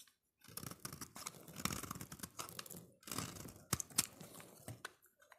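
A utility-knife blade scrapes and shaves the surface of a solid oval yellow soap bar held in hand. The result is dense, bright, crackling scraping in bursts, with a brief pause near the middle and a few sharper crisp snaps toward the end.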